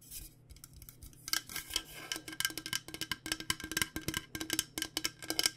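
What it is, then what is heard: Insulated stainless steel water bottle. Fingernails tap the body of a purple-coated insulated stainless steel water bottle held upright. After a quieter first second, a quick series of sharp, bright metallic clicks follows, each dying away almost instantly over a faint steady low hum.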